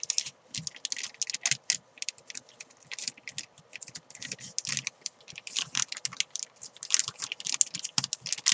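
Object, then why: Plastic zip bag with chalk inside. Fingers with long nails stretch, crinkle and tap a clear plastic zip bag with climbing chalk inside. Rapid, dry bursts of bright crinkling and clicking follow one another with almost no low end and no ring after each touch.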